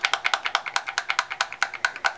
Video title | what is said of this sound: Silver Snowflakes | So here is the re-inker, and I'm going to start shaking it now. You can hear that little ball or whatever it is in there that helps with mixing it.